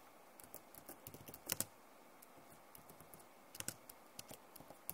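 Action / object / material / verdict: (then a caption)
tap / plastic laptop keyboard / plastic / none. Long nails and fingertips type on the keys of a backlit plastic laptop keyboard. Quiet, irregular, sharp clicks with bright tops and almost no ring, with louder bursts of taps near 1.5 and 3.6 seconds.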